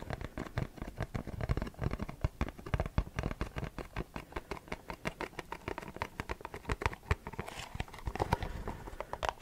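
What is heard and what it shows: A printed Versace perfume cardboard box is tapped with short fingernails and fingertips in a quick, steady patter lasting about nine seconds. Each tap is a dry, hollow little knock with a soft low thud and almost no ring, with occasional brighter clicks where a nail catches the surface.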